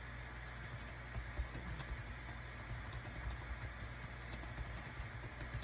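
Fingertips of both hands type rapid key presses on a small green-and-white plastic Dong Guan KPH-030 wireless Bluetooth keyboard with a built-in touchpad, its thin hollow body lying flat on a desk mat. Quick, light clicks with bright ticks sit over a steady low hum.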